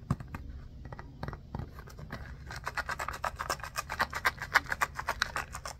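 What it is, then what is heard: Foam basketball stress ball. A small, solid orange foam stress ball with a basketball pattern is held in both hands and scratched with short nails and fingertips. Quiet, dry, bright rasping strokes come sparsely at first, then turn into a quicker, denser run of short scratches from about halfway through.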